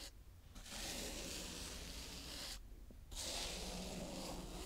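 A green plastic toy scoop smooths and scrapes across a round patch of brown kinetic sand. Two long, bright, hissing scrapes are heard, separated by a brief pause, with a soft low rumble underneath.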